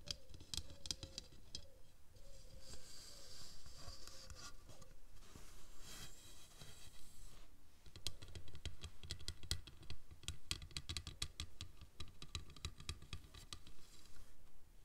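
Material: Plastic.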